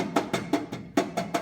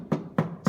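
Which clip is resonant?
The first.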